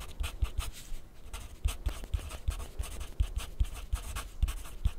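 A graphite pencil writes on grid paper resting on a white plastic clipboard lying flat. Quick, dry scratching strokes come in a steady uneven rhythm, each with a soft low tap from the board and a brief bright rasp.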